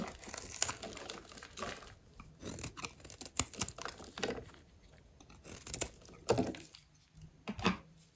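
A metal blade cuts and scrapes a grid into a solid oval bar of dry green soap held in one hand, shaving off small cubes. Dry, crumbly scraping and crunching strokes come in bursts with short bright clicks and quiet gaps between them.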